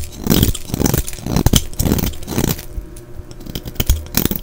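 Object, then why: Soap bar scraped with a blade. A solid green-and-white striped bar of soap, held in the hand, is shaved with a utility knife blade, scraping off curls and crumbs. A steady run of short, crisp scraping strokes repeats in quick bursts, each with a dull low thud under a bright crackly edge and almost no ring.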